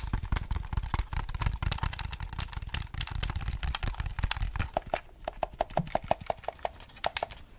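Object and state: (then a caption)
Plastic game controller. A grey, hollow, hard-plastic Nintendo 64 controller, hand-sized with colored buttons and an analog stick, is held close to the mic and tapped, scratched and clicked by fingertips and nails. Fast, dense clatters of dry plastic clicks and taps carry a thumpy low body. Toward the end they thin into sharper, evenly spaced clicks with a short hollow tone near 660 Hz.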